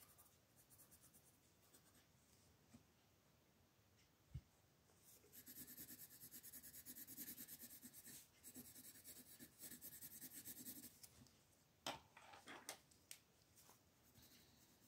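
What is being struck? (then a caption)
Paper coloring book page rubbed with wooden colored pencils. Wooden colored pencils, swapped between green, yellow and red, scratch and rub in short shading strokes across a flat paper coloring book page on a table, while the free hand with long orange nails holds the page. After a quiet start and a single sharp tick, a dense, bright scratching hiss builds and runs for several seconds, then gives way to a few crisp clicks and softer rubbing.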